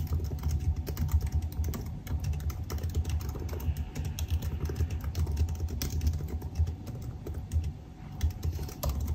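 Fingertips type rapidly on the black plastic keys of a silver aluminium laptop, producing a steady stream of quick, dull key taps. The taps are soft and thumpy, weighted heavily toward the low end, with only faint bright clicks on top. Each tap dies away almost instantly.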